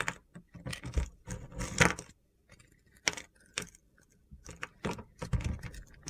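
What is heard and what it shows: A utility knife blade carves brittle white flakes off a scored, pink-purple glitter bar of soap held in the hand. Short, gritty, crunchy scraping cuts come in bursts separated by brief pauses, each a bright rasp over a dull low body.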